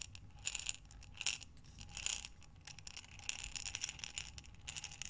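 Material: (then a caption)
Glass. A glass mason jar with a metal lid, full of buttons, is tilted and turned in both hands, so the buttons slide and clink against the glass. The result is quiet, bright rattling and clinking in uneven bursts, with short, sharp ticks that die away almost at once over a faint low rumble.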